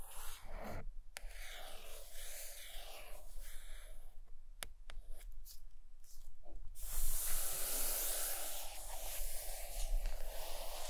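Long acrylic nails tap and scratch the cover of a large, solid purple hardcover book lying closed on a carpet. Soft, dry scratching and rubbing form a steady hiss with a few light taps. After about seven seconds the scratching becomes brighter and slightly louder.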